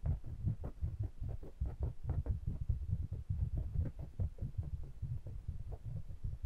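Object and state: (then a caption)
Metal pencil microphones tapped and rubbed. Fingertips rub and tap the metal bodies of two small pencil condenser microphones with mesh grilles, held in the fingers. A dense, steady run of short, dull, deep thumps and muffled rubbing is heard, each tap dying away almost at once with no ring.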